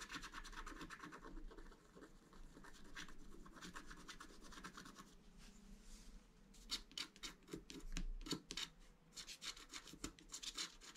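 A wooden stylus scratches lines across the top of a flat black-coated scratch art card held flat by the left hand. Soft, steady rubbing and scratching fills the first half, then gives way to sharper, separate bright scraping strokes in a quick, uneven rhythm.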